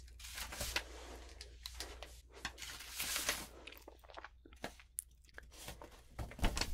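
A flat palm and long painted nails rub and press a sheet of lined notebook paper coated with rainbow glitter, lying flat on a wooden table with other sheets underneath. Bright, gritty crinkling and scratchy rustling come in uneven bursts over a steady low hum.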